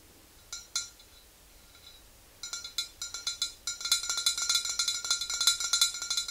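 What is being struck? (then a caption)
Glass swing-top bottle with liquid. Long green-painted nails tap the sides of a tall, clear glass swing-top bottle that stands upright and is mostly full of yellow liquid, with the hands moving toward the neck near the end. Two separate bright clinks are followed by a pause, then the tapping resumes and speeds up into a dense run of quick, glassy taps. Each tap has a short, high ring centered near 3.9 kHz.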